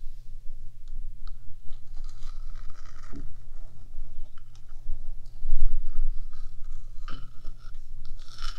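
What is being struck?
Painted metal microphone housing.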